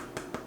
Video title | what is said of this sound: EVERYTHING you need to know about making sourdough at home | if you tap your bread and it sounds hollow, it's done